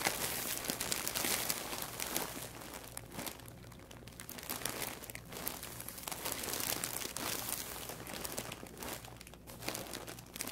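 Spread fingers press and rub the surface of a large white plastic poly mailer bag, full and stuffed, resting on a wooden table. The plastic gives a steady, bright crinkling and crackling that swells and eases over the whole clip, with a faint low hum underneath.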